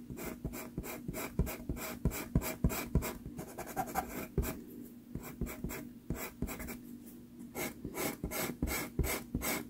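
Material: Paper.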